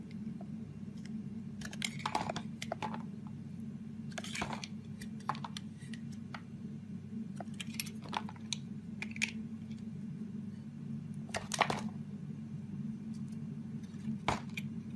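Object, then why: Bar of soap scraped with a metal blade. A metal razor blade scrapes and carves thin shavings off a solid green Fa bar soap with an embossed logo, held in the palm. Short, bright, crackly scraping bursts come in irregular clusters over a steady low hum.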